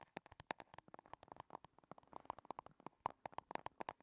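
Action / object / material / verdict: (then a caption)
tap / small chrome metal compact case / metal / none. A small, rigid, hollow, shiny silver square chrome metal compact case rests on a table and is tapped on its sides with long red nails. The taps come as a rapid, uneven run of about thirty short, dry clicks with a hollow metallic tone around 940 Hz that dies away almost instantly.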